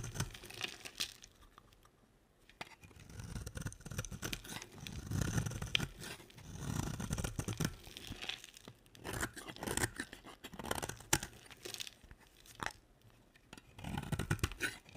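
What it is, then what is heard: Dry bar soap being shaved. A hand with long nails holds an oval, solid cream bar of dry branded soap and shaves it into flakes with a box-cutter blade. Many dry, crisp scraping and crunching cuts come in uneven bursts, with a soft low body under a bright, crackly edge and brief quiet gaps between strokes.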